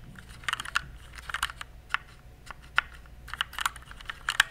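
Fingertips type on a compact RGB plastic mechanical keyboard, producing about fifteen short, bright clacks in irregular bursts and single strokes. Each key hit snaps off almost instantly, centered around 1.6 kHz, over a faint low background hum.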